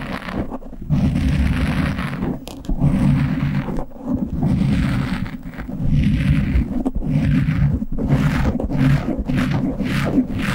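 Both hands scratch a soft, porous black foam windscreen on a standing microphone with short polished nails. The result is a dense, muffled, low rumbling scrape with very little brightness, coming in sustained bursts separated by brief dips.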